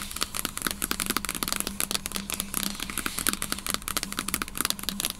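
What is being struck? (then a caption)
Aluminum laptop lid. Long nails rapidly tap and scratch across the flat, solid aluminum lid of a closed MacBook Pro sitting in its open box. The result is a dense stream of sharp, bright clicks and dry scraping with almost no ring, over a faint steady low hum.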